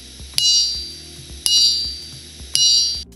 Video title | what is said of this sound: Boiler Safety Valve Economizer - Pressure Relief Valve Dismantling Cleaning Inspection - RoamerRealm | Dovresti sentire uno squillo forte e acuto che significa che tutto è in ordine. Un suono sordo significa che dovresti rottamare la molla.